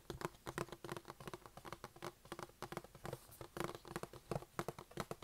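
Fingertips and nails tap and scratch the lid of a closed, hollow, medium-sized white cardboard iPad box held in both hands. Quick, dry, clustered taps with very short decay and a low hollow body sound blend with soft scratching. The taps come in uneven bursts throughout the clip.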